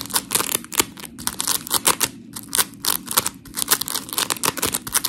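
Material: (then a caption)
Polymer foam. A white rectangular scrub sponge block of coarse, gritty polymer foam, held between both hands, is scratched by long pink nails and squeezed. Dense, bright, scratchy rasps come in quick bursts with short pauses between, mixed with soft squishing.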